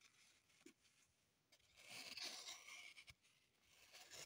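A small, solid green floral foam block is held in the hands and scratched and rasped with long, pointed acrylic nails, with crumbs lying on the table. A quiet, bright, hissy scraping rises and falls, swelling to its loudest in the middle, with a few soft ticks along the way.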